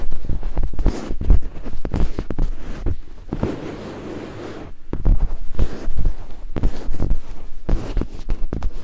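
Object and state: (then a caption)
Silicone binaural microphone ear. Two thin wooden picks held in fingertips scrape and climb over white silicone binaural microphone ears. The result is close, boomy scratching and rapid thumping taps, heavy in the low end, with a softer, steadier rustle in the middle before the quick scraping picks up again.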